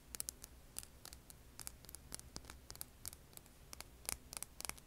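Long painted nails scratch and tap a hand-sized, solid, rough rock held over an earbud mic. About twenty quick, dry, bright clicks and scrapes die away at once over a faint low rumble.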